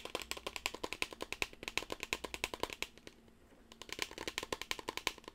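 Long blue nails tap rapidly and scratch across the surface of a small teal rectangular cardboard gift box with a printed white ribbon, held in both hands. Quick, dry, bright clicks come in a steady stream with a brief quieter scratchy pause near the middle before the tapping resumes.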